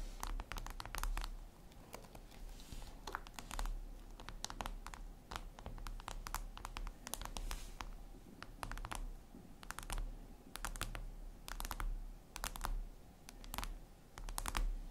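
Long red nails tap rapidly on a flat, glossy black glass surface, likely a tablet screen, making quick, sharp, typing-like clicks. The bright, crisp taps come in irregular bursts over a steady low background rumble.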